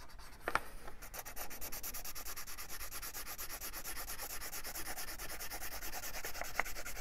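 A felt-tip marker rubs back and forth across the paper page of an open paperback coloring book on a wooden table, coloring in a circle while the other hand holds the page. A steady, rapid scratchy rubbing with a bright hiss continues throughout, with a couple of sharper ticks near the start and end.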